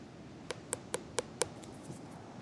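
Five quick, dry taps on a freshly harvested Miyabi 412 Earl's-type muskmelon, about 55 days after pollination, each a short knock with a low thud near 470 Hz and a brief crisp click above it, fading almost instantly. The melon sounds solid and ripe, and when cut open its flesh is good.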